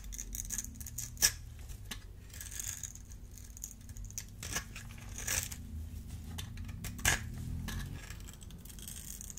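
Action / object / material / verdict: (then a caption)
scrape / bar of soap cut with a small metal blade / soap / none. A solid, dry, oval blue bar of soap held in the hand is carved into small cubes with a small metal blade that scrapes them off. The clip is a run of crisp, bright scraping and cutting strokes over a low, steady hum, with a few sharper, louder cuts standing out.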